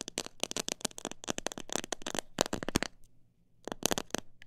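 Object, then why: Plastic jar full of seeds. Long black nails tap fast on the sides of a clear plastic jar full of mixed bird seed. Sharp, bright, dry clicks come in rapid bursts, stop briefly around the three-second mark, then resume.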